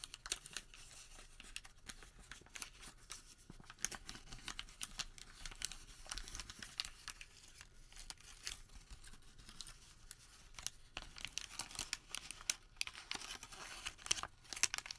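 Fingers flatten, rub and crumple a thin, crumpled thermal paper receipt with black printed text. Over the whole clip there is a quiet, steady stream of dry, bright crinkling and crackling, with dense sharp ticks that stop almost at once. The sound grows busier and snappier toward the end.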